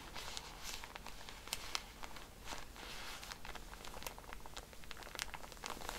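Long nails scratch and tap the plastic wrapper of a pack of cotton pads while hands turn it. The result is a quiet, steady crinkling and scratching, dotted with sharp, bright taps and brief crackles that stop almost instantly.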